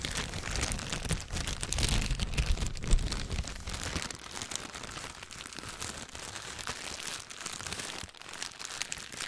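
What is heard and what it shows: A thin, clear plastic bag, stretched flat, is crinkled between the fingers. It makes a dense, continuous crackle of bright, crisp rustles over a low rumble that is heavier in the first few seconds. The sound then settles into a steadier, slightly softer crinkling.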